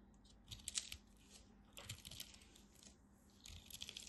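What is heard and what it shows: A craft blade cuts and scrapes crunchy pieces off a thin remaining slab of dry purple bar soap held in the fingers. Bright, crisp scraping and crackling come in three short bursts, near the start, the middle and the end, each with quick dry crunches over a faint low hum.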